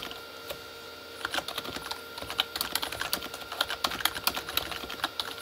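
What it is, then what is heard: Plastic keyboard being typed on. Fingertips of both hands type fast on a full-size Corsair K35 plastic mechanical keyboard with red-backlit plastic keys. After a lone click and a short pause, a rapid, uneven run of bright, crisp clacks with almost no ring follows, over a faint steady tone.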